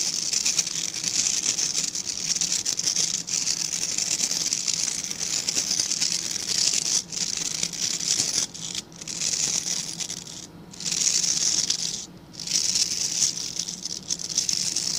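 Fingertips scratch and rub the dense, stiff bristles of a small dark-grey rectangular brush held in both hands. They make a steady, bright, hissy scratching that is almost entirely high-pitched, with a faint low hum underneath. The sound briefly drops out in short pauses around 8.5, 10.5 and 12 seconds before resuming.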